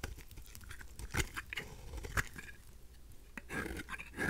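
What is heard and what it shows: A craft knife blade scrapes a pink, rounded, dry rose soap bar held in the hand, making dry, crisp, crackly scratching with short sharp peaks over a soft low rumble. Midway the blade briefly lifts away, then the scraping resumes and builds to louder, grittier strokes at the end.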